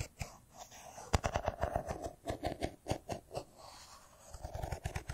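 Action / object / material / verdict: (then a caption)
tap / smartphone in metal-and-glass body / metal and glass / none. Fingertips and nails tap a hand-sized, solid silver smartphone with a metal-and-glass body held in the hands. The result is an irregular run of short, dry clicks and knocks with a soft low thump and a faint mid-range resonance beneath them. Between the taps there are brief quiet gaps.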